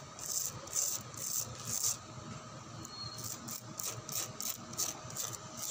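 Fingernails scratch the gritty surface of a white-painted, rough concrete lattice (jali) wall outdoors. Each stroke is a short, bright, rasping scrape, repeated in an uneven rhythm over a faint low background rumble.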